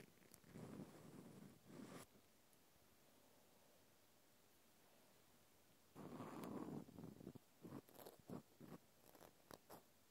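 A small white plastic clothespin with a metal spring, held in the hand, is scratched and tapped with a cotton swab. Soft, low rustling scratches come first. After a quiet pause, a longer scratching burst is followed by a run of short, dry taps.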